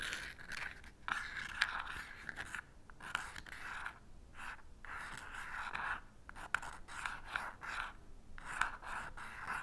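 An unlit green-tipped wooden match is rubbed and scratched back and forth along the purple abrasive striker strip of a small cardboard matchbox held steady. The result is a series of dry, rasping scrapes with occasional sharp ticks, separated by short silences. No flame catches.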